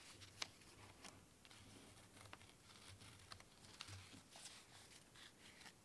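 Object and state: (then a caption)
Cork-covered cylinder. A hand-sized cylinder wrapped in rough natural cork with small stickers is held in both hands while fingertips and nails scratch and tap its surface. Quiet, dry scratching and crinkly rustling run throughout, punctuated by short, bright tapping clicks, with a faint low hum underneath.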